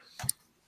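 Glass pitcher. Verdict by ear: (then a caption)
Real. An old-school glass pitcher, stated to be real glass rather than plastic, is tapped lightly. Two short, bright ticks are heard, the second sharper, with a brief low thump beneath them and almost no ring afterward.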